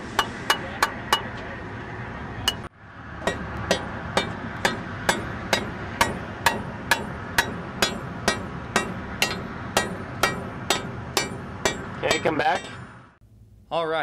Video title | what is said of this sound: Crumbling Concrete: Salt and Safety on Utah Bridges | could you hear the hollow sound as the chain especially was dragged across the surface of the concrete deck